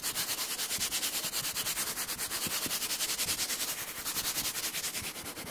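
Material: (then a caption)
Cardboard. Fingertips rapidly tap and scratch the flat side of a large, empty-looking brown cardboard box, likely a shoe box, held beside the microphone. The result is a steady run of quick, dry, bright scratching strokes with a hissy high end and almost no low bass.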